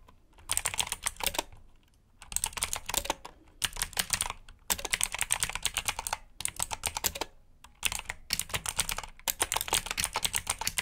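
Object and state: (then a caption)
Plastic mechanical keyboard. A black mechanical keyboard with plastic keycaps, resting on a carpet-like mat, is typed on with the fingertips of both hands. Bursts of rapid, bright, clicky keystrokes come in quick runs, separated by short pauses.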